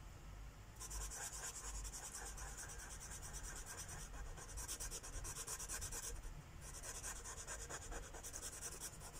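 A felt-tip Sharpie marker held in the fingers is rubbed back and forth across a thin paper coloring book page lying flat on a wooden table to fill in a mandala. Quick, bright, scratchy strokes come in steady rhythmic bursts, with brief pauses around four and six seconds, over a low, dull rumble.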